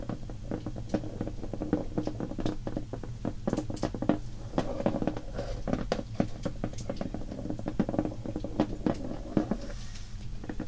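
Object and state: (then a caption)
Cardboard crayon box tapped with fingernails. Long painted fingernails tap and scratch quickly on a shrink-wrapped Crayola cardboard box filled with crayons, lying on a wooden table. Rapid, short, dry clicks and papery scratches run steadily over a low, muffled body that stays dull, with little bright content.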